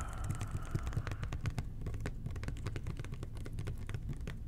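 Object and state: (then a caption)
Plastic cleaner bottle being tapped. Fingertips tap rapidly on the body and base of a red plastic toilet cleaner bottle with a blue cap. The taps come in a quick, steady patter of short, dull, hollow knocks with deep low-end weight.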